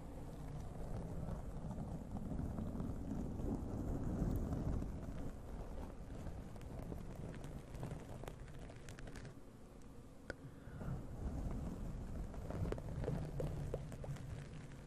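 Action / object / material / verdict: scrape / foam microphone windscreen / foam / none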